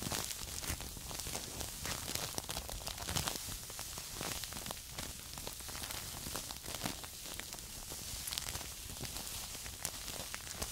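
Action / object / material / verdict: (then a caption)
scrape / filled paper tea bags / paper / none. Two small filled paper tea bags held in the fingers are scratched and crinkled with long acrylic nails. The result is a steady, dense, bright crackling rustle full of tiny ticks and scrapes that runs at an even, quiet level throughout.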